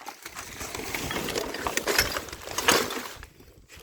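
A container holding broken light bulbs is handled and shaken, giving a dense run of bright glassy clinks and rattles. The shards jingle and scrape against each other in an irregular stream that swells and fades, with a few sharper clatters standing out.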